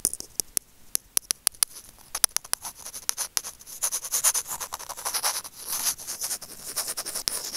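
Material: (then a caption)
Plastic. Curved steel tweezers tap and scratch the casing of a small, hollow white plastic earphone microphone remote held by fingertips. Sharp, separate clicks come first, then give way to continuous, bright scratching and rubbing. The sound stays thin and high, with almost no low end.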